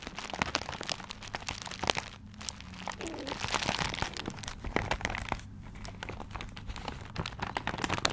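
Fingertips scratch and crinkle the tiger-print wrapping paper on a paper-wrapped gift. Dense, continuous crinkling is dotted with sharp, bright crackles and short scratching strokes, over a faint steady low hum. There are brief quieter dips between bursts of handling.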